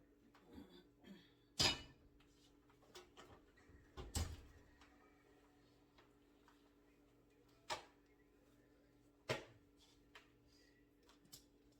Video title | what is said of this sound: Homemade Chicken & Gnocchi with Fresh-Baked Country Loaf! | because when it's hollow, your bread is done